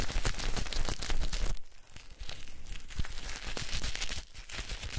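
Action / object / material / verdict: scrape / soap bar and cloth / soap / none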